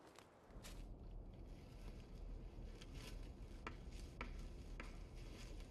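Knocks on a living tree trunk are picked up by a small wireless mic placed inside a hole drilled into the tree. The result is a deep, low rumble centered around 80 Hz, broken by short, sharp knock clicks that fade quickly.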